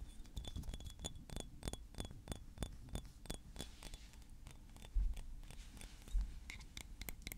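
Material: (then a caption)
Glass. A small, thick blue glass perfume bottle with a metal cap is held in the hand and tapped and scratched with fingernails. Quick, irregular, bright clicks and light scratches sound over a steady low rumble, with a faint high ringing tone early on. Two heavier, duller thumps come near the five- and six-second marks.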